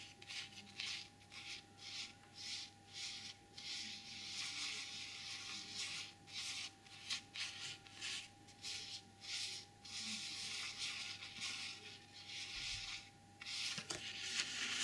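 Long glossy purple nails scratch and rub the surface of a small black velvet drawstring dice bag with a white printed eagle emblem, lying flat on a white table and possibly holding dice. About ten bright, hissing scratch strokes come in short bursts separated by brief pauses, over a faint steady tone.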